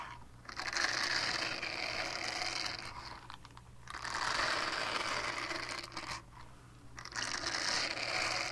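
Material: Silicone.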